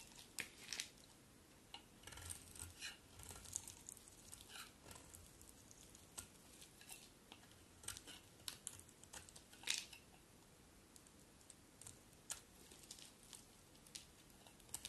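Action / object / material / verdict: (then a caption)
scrape / solid bar of soap shaved with a blade / soap / none. A thinning solid cream soap bar is shaved along its edge with a utility knife blade, held in long-nailed hands. Quiet, crisp scraping and crackling come in many short, bright bursts with little low end. Each stroke peels off soap with a dry, crunchy rasp.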